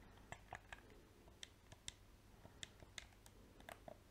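A small, hollow black PS4 plastic controller has its buttons clicked and its shell tapped with painted fingernails and fingertips. About twelve short, dry clicks and taps sound at uneven intervals over a low hum. Each has a bright plastic edge and stops almost at once.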